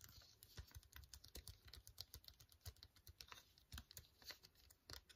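Long fingernails tap and scratch a full, flat, sealed silver-white No7 foil sheet mask sachet. The result is a quiet, rapid, irregular run of short, crisp clicks and bright, crinkly scrapes, each ticking off almost instantly with a soft low thud underneath.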